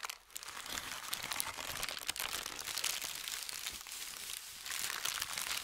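A large crumpled sheet of thin white shoe box paper resting on a felt mat is scratched with fingernails, rubbed with fingertips and crinkled. It makes a continuous bright, crackly rustle with dense rapid crinkles and almost no low end. The crinkling swells and eases slightly throughout.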